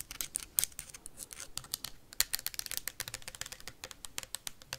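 Metal paperclips rapidly tap and scratch on a clear plastic sanitizer bottle with a label and white cap, partly full. The result is a fast, dense run of sharp, dry clicks and scrapes, bright and crisp with almost no ring and little low end.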